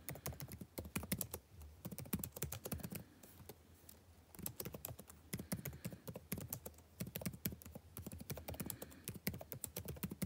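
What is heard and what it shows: Fingertips type continuously on the blue-backlit plastic keycaps of a dark laptop keyboard, producing rapid, dry taps with a low thuddy body and short bright clicks. The clatter briefly thins out to a near pause a little past three seconds, then resumes at a steady pace with each tap dying away almost instantly.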